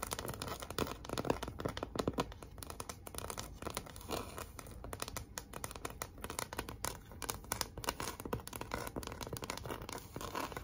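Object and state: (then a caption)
Cardboard sign scratched and tapped. Long acrylic nails scratch and tap across a large, flat, thin and rigid pink heart-shaped cardboard sign with raised red glitter "Be Mine" lettering. The result is a dense, continuous run of dry scratching and quick crisp taps with a papery, crinkling texture and little ring.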